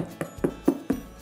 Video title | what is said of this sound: 5-Ingredient Artisanal Bread Recipe for Beginners | turn it over and give it a nice tap on the bottom. If it sounds hollow that means you’re good to go